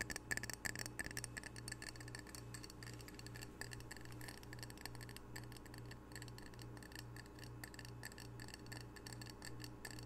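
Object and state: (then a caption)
Ceramic coaster. A ceramic coaster printed with a Pacific octopus from Edmonds is tapped rapidly with the fingertips, making quiet, dense clicky taps with a faint bright ring around 1.7 kHz that dies away almost at once. A steady low hum runs underneath the whole time.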